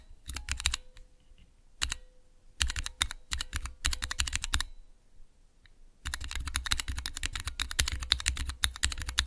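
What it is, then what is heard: Plastic mechanical keyboard switch tester being typed on. Fingertips rapidly press and type on clear plastic keycaps over Cherry MX switches in a small, hollow plastic mechanical keyboard switch tester. Bursts of sharp, bright clacks with a thumpy low end come in short runs separated by brief pauses, over a faint steady hum. After about six seconds the typing becomes continuous until the end.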